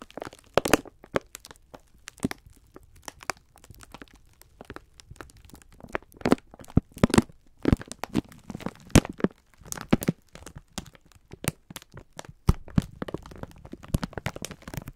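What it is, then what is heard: Plastic-wrapped pack of sponge scourers. Fingertips of both hands press, rub and crinkle a large clear plastic film bag holding several soft, full green and white sponge scourers. The result is a steady stream of short, sharp plastic crackles and crinkles, some bright and snappy, with quiet rustling between them.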